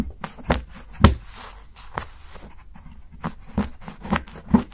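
A steel kitchen knife scrapes along the edge of a solid dark chocolate bar resting on a dark board and steadied by fingertips, shaving off fine shavings. Short, dull, low-weighted scraping strokes come at irregular intervals, separated by a quiet, soft rustle.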